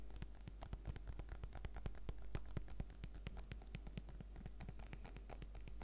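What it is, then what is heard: Plastic zip pouch crinkling. Painted fingertips and nails press, squeeze and tap on a small transparent PVC zip pouch with a fruit print and a pink zipper, filled with packaged face-mask sachets. The result is a quiet, dense stream of short crinkles, clicks and soft taps over a steady low hum.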